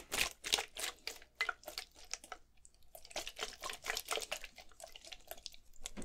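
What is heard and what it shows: A clear plastic Gatorade bottle, partly filled with blue liquid, is held in one hand and shaken and tilted back and forth. Quiet, irregular bursts of bright crinkling plastic and sloshing liquid come in quick succession, with a gap of softer sound in the middle.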